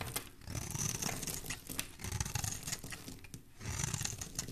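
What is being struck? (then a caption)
Bar of soap. A solid cream-white embossed soap bar with a pink core, held in hand, is sliced and scraped with a metal utility blade. The result is a run of rapid, crisp crackling scrapes with bright hissy edges over a soft, low-pitched rumble, in short bursts with brief pauses between them.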